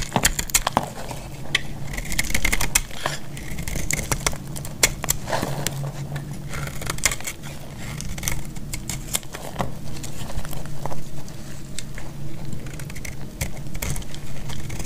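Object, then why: Bar of soap cut with a metal blade. A solid, dry green bar of soap is held in the hand and carved with a metal box-cutter blade. Dense crisp scraping and crackling clicks, with sharp bright snaps, sit over a steady low rumble throughout.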